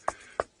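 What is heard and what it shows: Two hollow knocks on the dried-out trunk of a live tree whose bark was stripped by an elephant, the exposed wood riddled with wood borer beetle holes. Each knock is a short, dry, mid-pitched tap with almost no ring, the two spaced about a third of a second apart. The tree, still alive for now, is going to die.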